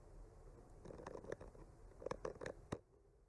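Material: Wood.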